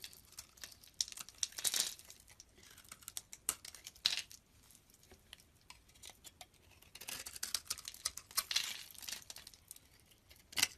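A metal blade scrapes along the surface of a solid white bar of soap held in the palm, making dry, crisp, bright crinkling scrapes. The sound comes in irregular bursts of rapid ticks with quiet gaps between, and ends with a sharp final scrape.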